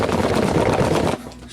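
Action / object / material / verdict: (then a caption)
shake / cardboard box holding frozen battered fish portions / cardboard / none. A small 440-gram cardboard box, about 9.5 by 7.5 by 2 inches, holding frozen Highliner fish portions in tempura batter, is shaken. The hard frozen pieces inside make a dense, continuous rattling clatter for just over a second. It then stops abruptly, leaving a quieter tail.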